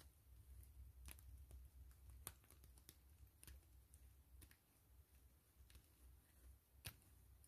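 Long fingernails tap and scratch a clear-gray PVC grid-mesh zipper pouch lying flat, soft and hollow. Quiet, irregular crisp ticks and light scratchy strokes with a bright edge sit over a steady low hum, with a couple of sharper taps standing out.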